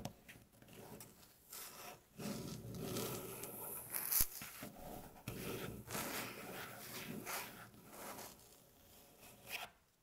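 Long natural fingernails slowly tap and scratch a light-colored, flat, solid wooden tabletop. Soft, dry scraping rasps rise and fall over the wood, broken by short, crisp tapping clicks, with one sharper tap standing out midway.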